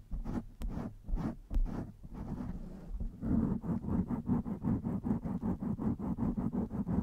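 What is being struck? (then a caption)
Foam microphone windscreen. Long white-tipped nails of both hands scratch and rub a soft, hollow blue foam windscreen over the capsule of a black USB microphone. Irregular muffled scratching with a couple of sharp clicks gives way to a quick, steady run of rubbing strokes. The sound is close, low and heavy, with little brightness.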